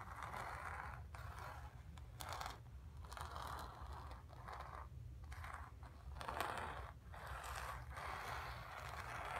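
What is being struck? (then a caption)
Painted cotton canvas. Long pink nails scratch across the painted surface of a stretched painted cotton canvas. Repeated dry, raspy scraping strokes are centered in the midrange around 800 Hz, separated by brief pauses, over a steady low rumble.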